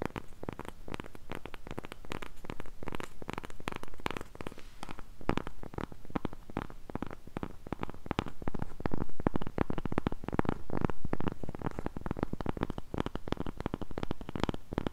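Long pink nails scratch the surface of a round, flat cork coaster held close. The result is a dense, continuous run of quick, dry scratching strokes with a heavy, low-end rumble and little brightness, steady throughout the clip.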